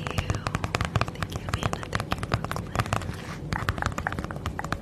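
Long nails tap and scratch the surface of a flat holographic padded plastic bubble mailer held in front of the mic. The result is a rapid, steady run of many short, crisp taps, each with a low thump, mixed with brief scratchy rustles.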